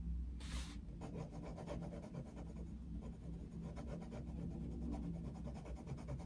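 The tip of a wooden coloured pencil scratches a thin paper page of an open colouring book lying flat on a desk in short, rapid colouring strokes. The result is a continuous dry, rubbing rasp, with a brief bright hiss near the start, all over a steady low hum.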